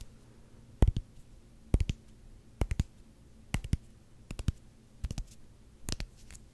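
A solid black rubber hockey puck, held close to the microphone, is tapped slowly with fingertips. Short, dull, low thuds come in seven small clusters of two or three taps, with quiet gaps between them. Each tap dies away almost at once.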